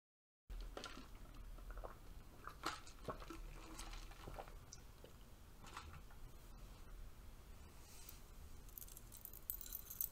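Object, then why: Stack of thin metal curtain rings. A stack of thin, bronze-colored metal curtain rings is held in one hand while the other hand's long nails flick and scratch across the ring edges. After a brief silence, quiet, bright jangling and tiny clinks scatter throughout over a low, steady background hum. The clinks die away almost instantly.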